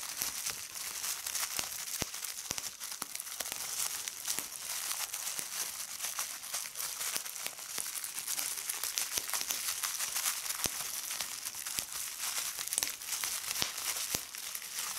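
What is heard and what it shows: A clear plastic bubble wrap sheet is pressed and popped by fingertips with red nails, giving a steady, bright crinkling and crackling. Many sharp, short pops stand out above the continuous rustle of the plastic throughout the clip.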